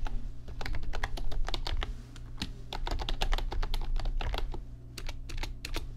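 Fingertips type on an RGB backlit computer keyboard with plastic keys, producing a rapid, uneven stream of short, crisp clicks. A steady low hum runs underneath throughout.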